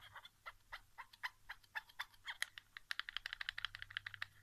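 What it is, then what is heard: Plastic game controller, hollow shell. Fingertips and nails tap the back casing and grip of a white plastic PS4 controller lying face down on carpet, its hollow shell giving each tap a light, clicky knock. About thirty quick, dry taps sound, slow and spaced at first, then speeding into a dense run. Each tap is bright and ends almost at once, with little low end.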